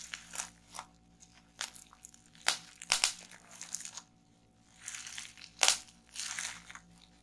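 Long nails and fingertips squeeze and pop rolled clear plastic bubble wrap resting on a table. Sharp, bright pops and crisp crinkling come in irregular bursts, with the loudest snaps near the middle and toward the end, separated by short quiet gaps.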